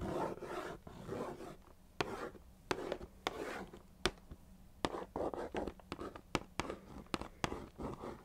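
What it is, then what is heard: Cardboard cereal box. Long nails scratch and trace across a hollow, medium-size Weetabix chocolate cardboard box, producing dry, papery rubbing and rasping strokes. Sharp, bright ticks from the nails stand out between the softer scraping, each dying away almost instantly, with most of the sound in the midrange.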